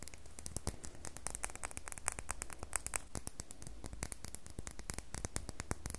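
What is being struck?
Bar of soap.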